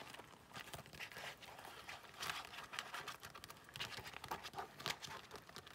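Long nails scratch and tap the glossy black faux leather card slots inside an open zip-around wallet held in both hands. The result is a quiet, continuous run of bright, crisp scratches and short clicky taps with no low rumble.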